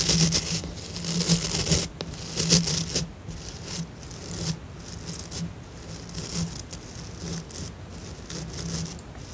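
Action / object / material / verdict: flick / plastic scrub brush with synthetic bristles / plastic / none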